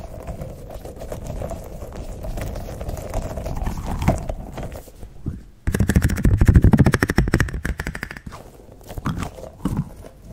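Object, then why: Soft rubber spiky squeeze ball. A small green soft rubber spiky toy ball is held in both hands right in front of the microphone while fingertips squeeze it and rub and press its spikes. A steady, low, muffled rubbing and squishing runs for about five seconds, then stops suddenly. A louder burst of rapid crackling clicks follows before fading into softer, scattered squeezes.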